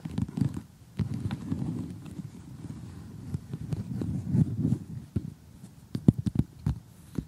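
Long glittery fingernails tap an assembled cardboard jigsaw puzzle showing giraffes and zebras, lying flat on a surface. The taps come in quick, irregular clusters of short, dull, low knocks with soft rustling in between, a few landing sharper and brighter.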